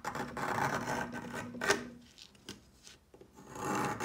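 A plastic peeler with a metal blade scrapes repeatedly lengthwise along a solid pale yellow chalk stick, making a dry, rasping scrape that sits mostly in the mid range. The long opening stroke ends in a sharp crack, followed by quieter, shorter scrapes and a final louder stroke. Chalk flakes pile up around the stick.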